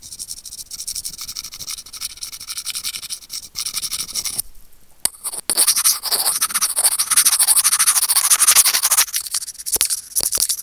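Curved steel tweezers held in fingertips scratch and pinch the small hollow white plastic inline remote microphone of Apple wired earphones as it hangs on its cable. Dense, bright, hissy scratching fills the clip, broken by a short quieter stretch with a few sharp clicks before the scraping returns louder and rougher.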